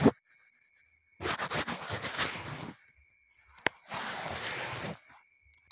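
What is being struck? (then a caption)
Polyethylene foam sheet. Gloved fingertips scratch and rub the textured surface of a flat, white, hand-sized, solid closed-cell polyethylene foam sheet held near a small taped-down microphone. Two long bursts of dry, crackly rubbing are broken by a few sharp clicks at the start, the middle and the end. A faint steady tone sits in the quiet gaps.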